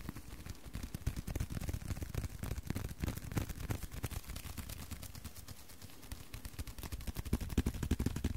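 A small, flat, thin blue leather card holder is held in both hands and tapped and scratched with the fingertips and short nails. The result is a quick, uneven run of soft, dull, low taps with faint scratchy texture, each stopping almost at once, growing a little busier and louder toward the end.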